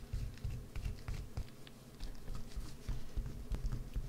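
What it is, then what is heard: Bar of soap being carved. A solid green bar of soap held in the hands is carved with a wood-handled gouge. The result is a quiet, continuous run of soft scratching and scraping with a low, muffled body and faint bright ticks.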